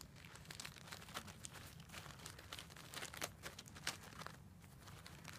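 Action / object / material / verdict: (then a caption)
scrape / bundle of wooden incense sticks in a plastic sleeve / wood, plastic / none. A hand-held bundle of thin dark incense sticks on wooden cores, likely still in a thin plastic sleeve, is scratched and rubbed along its length with long glossy black nails. Quiet, bright crinkling and scratchy rasps come in quick, uneven bursts over a steady low hum.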